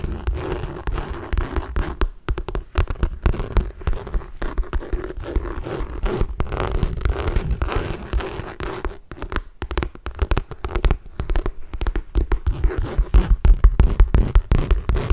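A medium red MK saffiano leather tote with metal hardware, held up so it sits hollow, is scratched and tapped with fingertips and nails. Quick, irregular taps and scratchy rubs come in dense bursts for the whole clip, each one short and dry with a dull low thump and little high sound.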